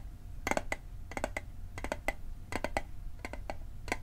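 A small hollow metal Altoids mint tin, held on its edge, is tapped with fingertips and nails in quick little clusters. Each tap is a short, dry metallic tick with a ring near 880 Hz and bright overtones that die away almost instantly, over a low background rumble.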